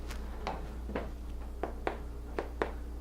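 Freshly baked cinnamon swirl bread loaves, just out of the oven, are thumped gently several times in a row. Each gives a short, slightly hollow thump rather than a dead one, over a steady low hum. That hollow sound shows the loaves are baked through.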